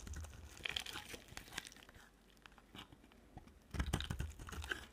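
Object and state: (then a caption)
Dry soap bar being carved. A utility knife blade scrapes and carves a dry, solid green and white striped soap bar, first while it rests on a table and then while it is held in hand. Crisp, crumbly scraping and crackling come in dense bursts with low thuds beneath. A quieter stretch in the middle gives way to a louder run of cuts near the end.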